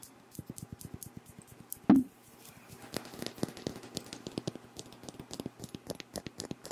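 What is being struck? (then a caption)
Glass perfume bottle. A hand-sized pink Versace Bright Crystal glass perfume bottle with a faceted cap, filled with pink liquid, is held in both hands while fingernails tap and scratch its glass facets. Quick, light clicking taps and faint scratches run throughout, with one louder, low knock near the two-second mark.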